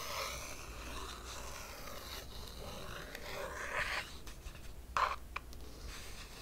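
A long fingernail traces along an illustration on the glossy printed page spread of an open hardcover art book. It makes a steady, soft scraping rub with a faint low hum beneath, and sharper, brighter scratch bursts near the end.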